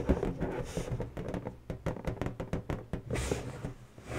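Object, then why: Inflated latex balloon. Long natural fingernail tips quickly tap an inflated, hollow pink latex balloon. The result is a rapid run of soft, dull, hollow knocks that are mostly low in pitch with little brightness, each dying away almost at once.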